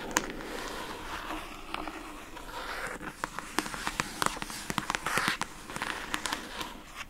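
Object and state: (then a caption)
Plastic food container lid. Long acrylic nails scratch across the labeled lid of a rectangular pink plastic food container box. A steady dry, bright scraping hiss runs throughout, broken by many sharp, quick clicks and taps as the nails catch and strike the plastic.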